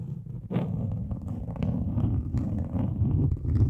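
Long acrylic nail tips scratch and tap across a large, flat, grey, textured plastic sheet. The result is a dense, continuous, low rumbling scrape with short brighter scratchy bursts on top.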